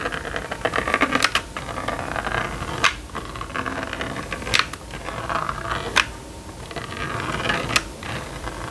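A plastic stylus scratches zigzag lines across the screen of a small red and yellow plastic magnetic drawing board toy. A steady, dry, bright scratching rasp rises and falls in short strokes, broken by several sharp, brief clicks that stand out above it.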